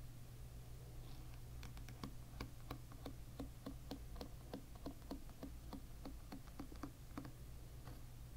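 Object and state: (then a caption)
Plastic-pin hairbrush being flicked. A fingertip flicks rows of thin brown plastic pins on a hairbrush lying bristles-up, producing a rapid series of short, bright clicks that die away almost instantly. A steady low hum runs underneath the quiet clicking throughout.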